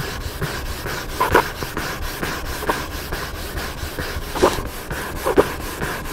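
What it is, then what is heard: Hardcover book scratched with fingernails. Several fingertips and nails scratch rapidly across the paper cover of a large black hardcover book lying flat. The result is a steady, dry rubbing hiss with sharper, brighter scrapes that stand out now and then.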